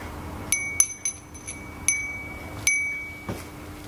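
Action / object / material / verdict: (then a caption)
shake / small glass bell wind chime / glass / none. A small hollow glass furin wind chime with a painted flower design hangs on a pink string and is held up by hand and shaken so it rings. Six bright, high glassy strikes are heard, each leaving a sustained ringing tone near 2.3 kHz with higher shimmering overtones, over a faint low hum.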